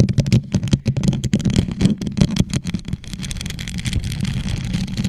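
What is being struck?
Plastic tumbler covered in rhinestones.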